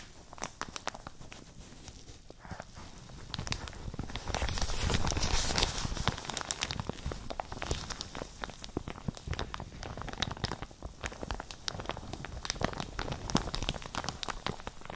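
A soft, hollow, empty printed plastic (PEVA-like) shower cap with a yellow-green pattern is held in both hands between two microphones and crumpled and squeezed with the fingertips and long nails. A steady stream of crinkling and sharp, bright crackles is heard, swelling louder around the middle before settling back.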